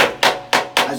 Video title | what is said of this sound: IMG 5658 | as you can hear, is blown plaster